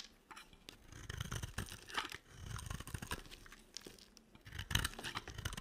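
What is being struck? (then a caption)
Bar of soap carved with a small blade. A small metal blade carves and scrapes crunchy flakes from the edge of a hand-sized solid bar of dry white and pink soap held in the hand. Quiet, dry crunching and crackly tearing scrapes come in close, uneven bursts with a soft low thump beneath and a bright crisp edge, stopping short with no ring.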